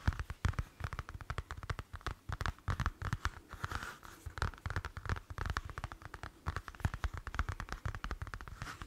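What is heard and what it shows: A palm-sized, flat black leather wallet is held up in both hands while fingertips and nails tap and scratch its surface. The result is a dense run of quick, dull taps and scratchy rubs, heavy in low thumps with a faint mid-range crackle, each one dying away instantly.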